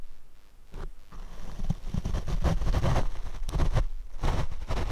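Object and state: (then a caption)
Foam microphone windscreen being brushed. A large paint brush with natural bristles and a wooden handle is swept back and forth across the small, cylindrical black foam windscreen covering a black Rode microphone on a small tripod. The strokes come through as deep, muffled rumbling swishes, heavy in low-end thump with almost no brightness, rising and falling in uneven waves.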